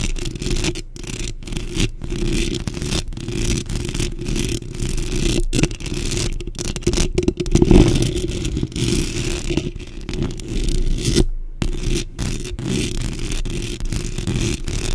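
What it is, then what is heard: Metal mesh microphone grille. Long pink nails on both hands scratch and tap fast across a black metal mesh microphone grille. The result is a dense, continuous run of rasping scrapes and soft taps, heavy in low, boomy rumble with a gritty, brushy texture on top. It is broken by a few brief silent gaps.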